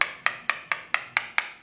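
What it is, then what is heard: Solid floor tile. Seven sharp, bright taps on a ceramic floor tile, each a short high click that dies away quickly with no low boom. The tile is solid, meaning it is bonded to the concrete beneath.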